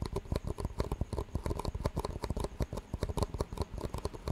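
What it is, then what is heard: Clear plastic cups. Fingertips rapidly tap the walls of two identical clear, disposable plastic cups with green rims, hollow and empty and held in both hands, and the cups are knocked together. This gives a quick, uneven run of short, dull, hollow taps with soft clicky tops that die away at once.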